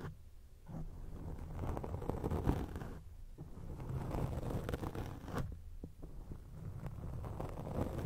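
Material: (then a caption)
Foam. Long acrylic nails scratch a round grey foam windscreen on a microphone. The result is a dense, muffled, low rumbling scrape with faint rustling, mostly deep bass and almost no high end. It runs nearly continuously, with brief quieter dips around the start, the three-second mark and the six-second mark.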